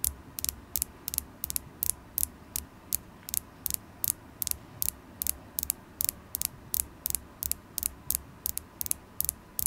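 A solid polished carnelian stone point, held in the fingers, is tapped with long acrylic nails, giving 29 quick, bright clicks at an uneven pace of nearly three per second. Each tap is sharp and dies almost instantly, with a faint low rumble underneath.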